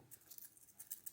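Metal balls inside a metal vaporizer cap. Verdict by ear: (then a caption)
Loose. Picking up a DynaVap UniDyn 2025 vaporizer makes the loose metal heat-retaining balls inside its metal cap rattle. The result is a quick series of light, bright, maraca-like clicks with very little low end. It is a small flaw.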